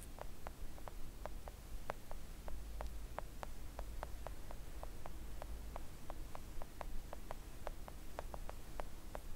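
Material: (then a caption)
Silicone. Long acrylic nails tap a thin, solid, flat pink silicone nail art mat with both hands, making a steady run of soft, short clicks. Each tap is dry and dies away almost instantly over a low, constant hum.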